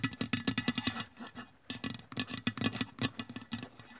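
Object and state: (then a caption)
Aluminium aerosol can tapped with fingernails. Long press-on nails tap and scratch along the printed body of a hollow aluminium aerosol deodorant can lying on its side on a wooden table. Quick, short clicks come in bursts, each with a brief hollow ring around a low-mid pitch and bright metallic edges. Light scratching fills the gaps between the bursts.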